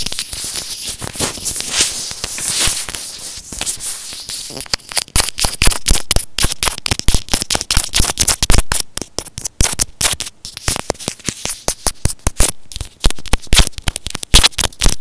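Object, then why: Plastic earphone inline microphone. A white plastic earphone inline microphone on a thin cord is pinched between fingers, scratched and tapped with fingernails. A dense, bright, crackly scratching fills the first few seconds. Rapid, irregular sharp clicks and taps with low, close-up thumps then dominate.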